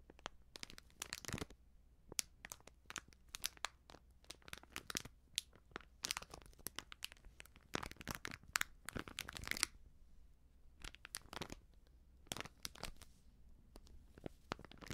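A small sealed plastic-foil baking soda sachet with a crimped foil edge, filled with powder, is squeezed and scratched with long nails and fingertips. Dense, bright crinkles and sharp crackles come in irregular bursts, with brief quieter scratching between them over a faint, steady low hum.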